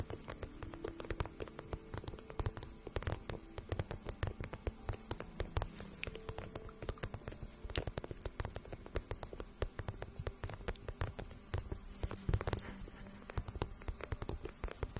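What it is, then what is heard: Vinyl pouch tapped and scratched with nails. Long painted nails tap and scratch a hollow, empty-looking medium pink vinyl pouch with one glossy side and one matte side. The result is a quiet, continuous stream of rapid, short, dry taps and scratchy patter with a soft, low-heavy body and very little high-end brightness.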